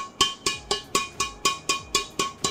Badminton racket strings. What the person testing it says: bunyinya Ting Ting Ting Ting nya enak sekali